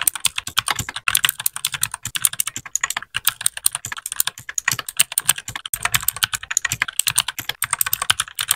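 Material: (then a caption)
Plastic. A small white 60% mechanical keyboard with plastic keycaps is typed on steadily with the fingertips of both hands. The continuous keypresses make a rapid, uneven stream of short, bright plastic clacks that stop dead with no ring, with only brief pauses between bursts.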